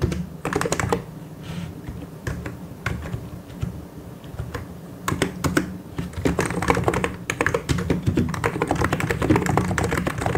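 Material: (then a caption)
Plastic. Fast two-handed fingertip typing on a white and grey plastic mechanical keyboard produces dense, irregular bursts of clicky keystrokes. The typing slows into quieter, sparser stretches around 1 to 5 seconds before picking back up. A steady low hum runs underneath throughout.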